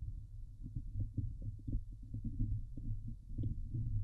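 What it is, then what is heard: Metal mesh microphone grille. Long nails scratch the hollow, domed wire-mesh grille of a Blue Yeti microphone, producing a run of quick, dull scraping strokes. The sound is deep and boomy, sitting almost entirely in the low range with a steady rumble underneath, and each stroke dies away almost immediately.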